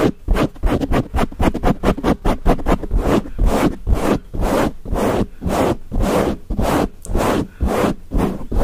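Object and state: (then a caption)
Foam microphone windscreen being scratched. Fingertips and nails of both hands rapidly scratch and rub a dark grey foam windscreen on a microphone. The result is a fast, uneven run of rough, scraping bursts with a heavy low-end rumble. The bursts start quick and choppy, then turn into longer swelling rubs.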